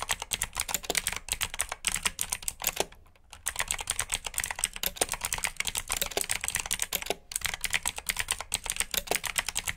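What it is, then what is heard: Plastic mechanical keyboard with blue switches. Two hands type continuously on a black plastic RGB mechanical keyboard with blue switches, fingertips producing a rapid stream of sharp, bright clicks with almost no ring. The typing pauses briefly around three seconds and again just after seven seconds, then resumes at the same quick pace.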